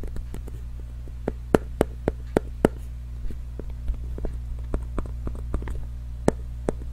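Fingernails tap and scratch a small, hollow, pink printed cardboard box held in both hands. Sharp, dry, irregularly spaced clicks with almost no ring sit over a steady low hum, with a few louder taps standing out.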